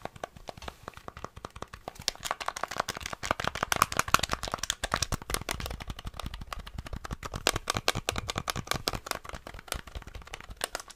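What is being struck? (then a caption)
Plastic game controller buttons. A small, flat, hollow grey and black plastic NES rectangular gamepad is held in the hands while fingertips rapidly press and tap its buttons and d-pad. The result is a fast, steady stream of sharp, dry plastic clicks and taps with a bright edge and almost no ring, in a quiet, close space.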